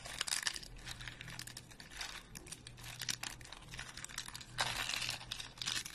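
Thin, flat, dry speckled soap flakes are snapped and crushed into small pieces between fingers and thumbs, close up. Dense bursts of bright, dry crackling and crunching come and go over a faint steady low hum, swelling loudest near the start and again toward the end.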